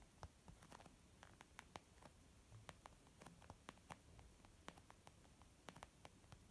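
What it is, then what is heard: Leather makeup bag. Nails and fingertips slowly tap on a white textured leather zip pouch used as a makeup bag. About 20 quiet, crisp taps each click sharply and die away almost at once over a soft, low background hiss.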